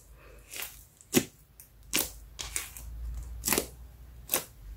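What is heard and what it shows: Fingertips poke a large, shiny brown slime lump resting on a yellow mat, pressing finger holes into it, then pull and fold it. Sharp, wet popping squishes with bright crackly edges break out at irregular moments over a faint, sticky rustle. Each pop cuts off almost at once.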